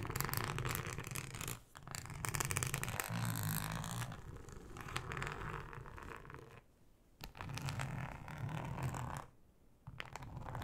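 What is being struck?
Flexible ribbed plastic cutting mat.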